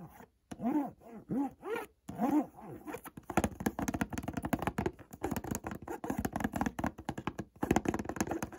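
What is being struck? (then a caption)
Cardboard perfume box. Fingertips and nails scratch and trace across the front face of a white cardboard Montblanc perfume box. It opens with a few squeaky, pitched swoops that rise and fall around 340 Hz. Then comes a long run of quick, dry, close-up scratching strokes with little ring.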